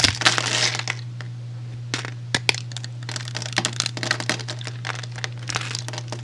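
A metal utility blade scores and shaves a solid, hand-sized, penguin-shaped cream soap bar held in one hand, cutting it into small cubes and flakes. A dense scraping burst opens the clip, followed by a run of short, bright, crisp crackles and crunchy cuts. A steady low hum runs underneath throughout.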